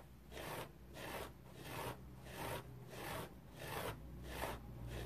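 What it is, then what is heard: Foam bath sponge being scratched. Fingernails scratch a dry teal foam bath sponge with a rope loop in steady, rhythmic strokes. Each stroke is a soft, raspy, rubbing swish that swells and fades at a relaxed pace, centered in the mids with a faint bright hiss. A quiet, steady low hum sits underneath.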